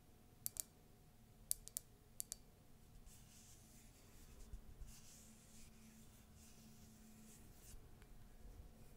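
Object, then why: Ceramic mug. Long nails tap seven times on the base and side of a tall, white, conical ceramic latte mug with a colourful text print, which is hollow and empty. Each tap is a sharp, bright click that dies away almost at once. The taps give way to a soft, hissing scratching across the mug for the rest of the clip, over a low, quiet background.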